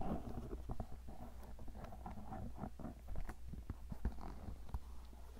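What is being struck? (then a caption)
Leather cowboy boot. A hollow, empty tan stitched leather cowboy boot is held sideways while painted fingernails scratch and tap along its shaft and sole. The result is a steady stream of soft, dull scratching with short, muffled taps over a constant low hum, with nearly all of the sound sitting in the low range.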